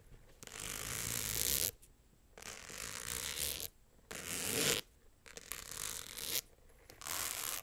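Long acrylic nails scratch a small, hollow, rectangular clutch purse covered in tiny rhinestones, held close to the mic. There are five bursts of bright, gritty, rasping scratching separated by short quiet gaps, with the sound concentrated in the high end and little low rumble.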